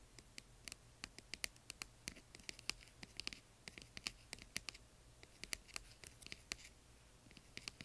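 Long nails tap and scratch the outer walls of a small, hollow, yellow glittery translucent plastic box partly filled with plastic bingo chips. The result is a quiet, irregular stream of sharp, bright clicks that stop almost instantly, mixed with soft, high scratching and very little low end.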